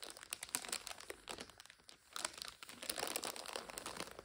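Long nails scratch and tap a full five-packet instant noodle multipack in its plastic overwrap, making it crinkle. Quick, bright crackles and taps come in dense bursts, with a brief quieter lull near the middle before the crinkling picks up again. The sound is sharp and high with almost no low end.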